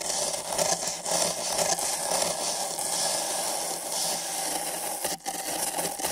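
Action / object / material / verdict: scrape / paper cup scratched with nylon bristle brushes / paper / none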